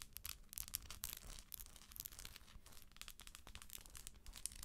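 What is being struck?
Hollow plastic moon lamp shell.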